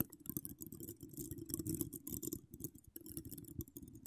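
Long decorated acrylic nails scratch across a hollow metal mesh microphone grille. The result is a dense, continuous run of quiet scratching and crackling, with a rumbly low body and bright, brittle clicks on top, and a brief near-pause just before the three-second mark.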